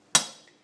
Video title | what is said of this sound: 'Sweating In' bearings into cases-the safe way to install b | just tap the outer race gently. If you hear a solid sound, it's in.